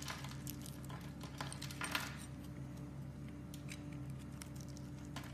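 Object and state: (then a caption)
Bar soap being cut with a knife. A metal knife blade scrapes and slices thin strips off the pre-scored surface of a solid blue, hand-sized Arko Men soap bar held in a hand with red painted nails. Quiet, crisp scraping and bright crackly ticks repeat throughout over a steady low hum, with a slightly louder cluster near the two-second mark.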